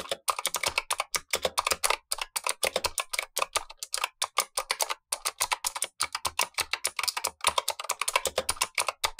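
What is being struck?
Plastic mechanical keyboard with clicky switches.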